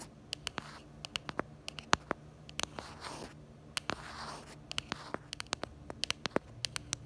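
Long acrylic nails tap and scratch the back of a pink plastic phone case and its black camera bumper on a smartphone. Sharp, bright clicks come in quick, uneven bursts, with softer raspy scratching swells around the middle of the clip over a faint low hum.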